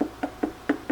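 Knocks on a whole watermelon held up near the ear to judge ripeness. Four short, hollow thuds sound at even intervals, each with a low pitch around 290 Hz and almost no ring. The hollow sound marks the watermelon as ripe.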